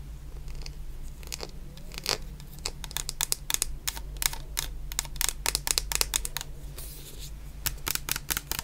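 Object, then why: Plastic shower gel bottle. A medium clear plastic bottle full of orange shower gel is tapped with long painted nails, giving a rapid, uneven run of sharp, bright clicks with very short decay. Beneath the clicks sit a steady low hum and faint scratchy handling noise.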